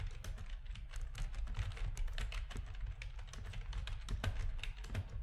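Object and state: Plastic computer keyboard.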